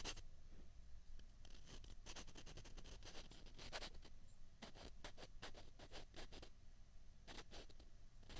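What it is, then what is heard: Plastic ping pong balls rubbed together. Two small, hollow white plastic ping pong balls are held in the fingertips and rubbed and scraped together. The result is a quiet run of short, dry, scratchy bursts with bright edges, some quick and clustered, others spaced apart, over a faint low rumble.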